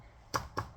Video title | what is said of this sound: lee pro 6000 PTR 91 reloader | if you shake it, you can, or bop it, you can hear powder in it